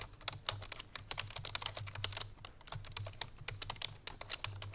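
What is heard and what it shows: Fingertips with painted nails on both hands type quickly on a full-size black plastic computer keyboard resting on a white fur rug. A dense stream of short, bright clicky keystrokes with almost no ring sounds over a faint low hum.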